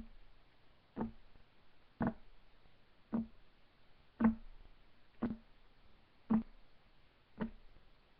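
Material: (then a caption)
Wood. Fingertips of both hands tap a solid, flat, light wood desk top, giving seven short, dry knocks about a second apart. Each knock has a low-mid body around 220 Hz and dies away almost at once.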